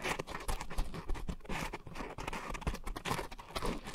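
Long nails scratch and tap the surface of a round, pink, coarse-textured foam scrub sponge with a white foam base, soft and porous, mounted over two microphones. The result is a dense, muffled stream of rustling, crunchy scrapes and soft dull taps, heavy in the low end with little brightness and no ring after each touch.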